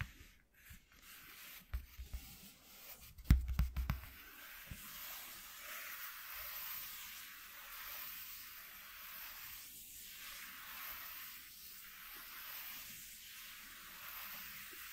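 Fingertips and nails scratch and rub a flat white corrugated cardboard piece lying on a dark cloth. A few sharp, dull taps come first, then the sound settles into a steady, soft, rhythmic scratching hiss that swells and fades in repeating strokes.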